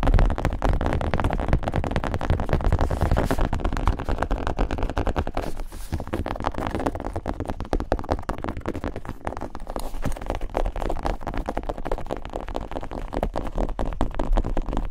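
Long nails and fingertips tap and scratch a medium black, hollow hard-shell zip case with a textured leatherette cover. The result is a dense, fast run of crackly taps and scrapes that blur together, with a boomy, hollow low end and short decays.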